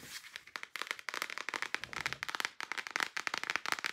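A small, flat, rectangular cardboard eyeshadow palette with pans inside is held closed and then open while long nails tap rapidly on its cover. Nineteen crisp, dry, bright clicks sound in quick irregular bursts, each ending instantly with no ring.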